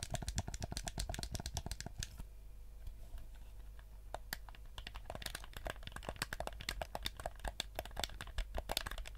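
A black PS4-style plastic gamepad with a hollow shell, held in both hands, is tapped and scratched by fingertips and nails while its buttons are clicked. Quick, dry, bright clicks and taps come in dense runs, thin out into a quieter stretch of soft scratching in the middle, then pick back up in rapid bursts to the end.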